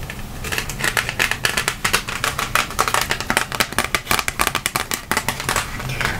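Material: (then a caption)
Cardboard. A round, flat, printed cardboard color wheel used as a paint-mixing guide, about hand size, thin and layered, is held close and tapped and scratched with long acrylic nails. A quick, steady run of dry, clicky taps mixes with papery scratching, each tap bright and dying away almost at once. The result is crisp, close-up tapping with a light rustly texture throughout.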